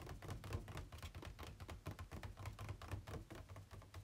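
Fingertips and nails tap on the inner walls of an empty, hollow, ribbed white plastic packaging insert tray held tilted on a bed. A quick, uneven run of soft, hollow taps with a low, boomy body and short clicky edges, each dying away almost at once.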